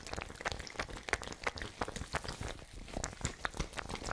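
A small, hollow, fabric-covered ice bag with a white plastic screw cap, partly filled with water, is held in the hand and shaken and squeezed. The water sloshes inside in quick, uneven bursts of soft, bright splashing and gurgling, with short, dry pops and crinkles from the bag.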